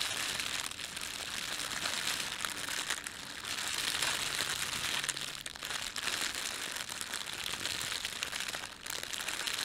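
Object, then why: Thin plastic bread bag. Fingertips scrunch and rub the film of a thin red printed plastic bread bag, making a steady, bright crinkling that runs the whole clip. The rustle stays dense and high-pitched with little low end, easing only briefly around 5.5 and 8.8 seconds before picking back up.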